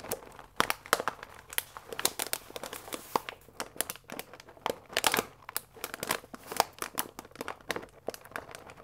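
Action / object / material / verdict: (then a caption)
scrape / paper pasta bag with plastic window / paper / none. A full paper fusilli pasta bag with a plastic window is held upright and squeezed and crinkled with fingertips and nails. Dense, sharp crinkling and crackling bursts with bright, papery highs and almost no low end fill the clip, with no speech.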